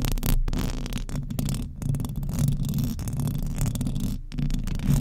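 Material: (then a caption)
Metal mesh. Very long decorated acrylic nails on both hands scratch the hollow metal mesh grille of a large silver condenser microphone, Blue Yeti type, on a stand. The result is a continuous, dense run of scraping and rustling that is heavy in low rumble around 140 Hz, with quick rasping strokes and a few brief gaps.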